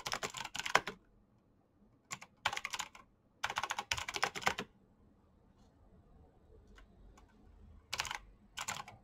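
Fingertips tap the keycaps of a black plastic mechanical keyboard with clicky switches at a moderate pace, in bursts of quick, bright clicks separated by short pauses. Each click is sharp and dies away almost instantly, with little low-end weight.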